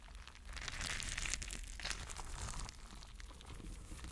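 Fingertips press and rub the bumpy surface of a palm-sized, spiky, clear rubber mesh stress ball filled with gel water beads. The result is a steady stream of bright, crinkly squishing and crackling over a low background rumble.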